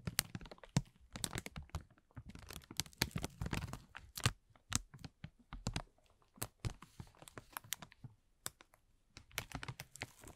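A thin, clear plastic film bag is pulled, rubbed and crinkled with the fingertips of both hands. It makes a dense run of sharp, bright crackles and snaps with soft low rustling underneath. The bursts come in irregular clusters, separated by brief quiet gaps.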